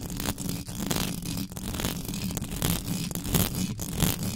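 Extra-long pink nails scratch fast and hard across the hollow metal mesh head of a black USB microphone. The result is a dense, continuous scraping and rasping with a heavy low rumble, bright scratchy hiss on top, and irregular surges in loudness.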